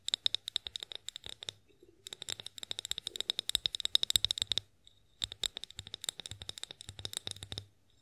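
Long acrylic nails tap and scratch the sides of a tall, clear, hollow glass olive oil bottle that is mostly empty. Quick, bright clicking taps with a faint glassy ping near 3.8 kHz come in three dense bursts separated by short pauses, each tap dying away almost instantly.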